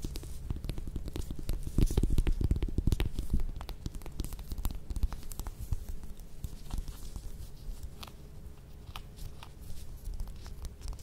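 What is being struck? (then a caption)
Whole mandarin orange peel. Long nails scratch and tap the peel of a whole mandarin orange held in both hands. Dense, low, crackly scratching is broken by quick sharp taps, loudest around two to three and a half seconds before settling into a softer, steady rustle.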